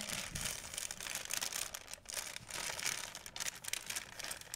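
An empty white printed plastic shopping bag is crumpled and folded by hand, producing dense, continuous bright crinkling with almost no low end. The crackle surges and eases in overlapping bursts for about four and a half seconds, with brief dips in the middle.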